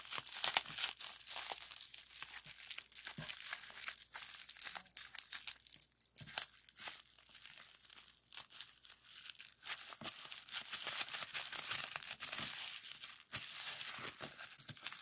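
A long twisted roll of clear plastic bubble wrap with hollow bubbles is twisted by hand, then flattened and popped with the fingertips. It makes dense, bright crinkling and crackling, with many short, sharp pops centered near 2.9 kHz and almost no low end. The sounds are dry and stop instantly, with nothing ringing on.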